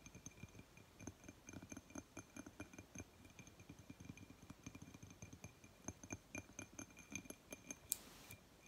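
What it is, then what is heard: Glass object. A glass object is tapped in a rapid, irregular series of short, soft clicks with almost no ring. Each tap has a low body and a bright, glassy edge. Near the end, a brief louder scrape-like burst briefly fills the highs.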